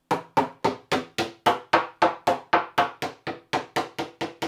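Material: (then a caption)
Fibreglass. A tool with a metal end taps 18 times across an area of fibreglass boat hull laminate, giving a steady series of short, hollow-sounding knocks with little low end. The laminate sounds detached from the layer beneath and needs grinding back and reglassing.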